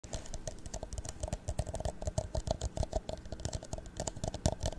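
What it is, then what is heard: Empty plastic cup, hollow. An empty, hollow clear plastic drinking cup is held in the hands in front of the microphone and tapped all over with fingertips and medium nails. The rapid tapping makes a steady stream of soft, dull plastic knocks with a faint hollow ring. Sharper, brighter nail clicks come through over the top.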